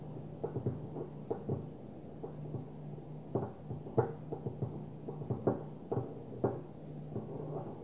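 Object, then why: Small glass perfume bottle. Long nails tap on the surface of a small, opaque white glass perfume bottle held in the hand. A string of irregular, soft clicking taps lands over a steady low hum. Each tap is short and dull, with a faint bright tick and almost no ring after it.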